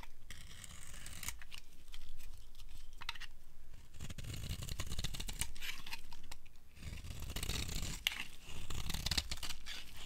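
A metal blade scrapes flaky shavings from the surface of a solid, dry white soap bar. Rough, crackling scrapes come in repeated bursts with short pauses between strokes, each carrying a dry, bright, tearing texture over a low rumble.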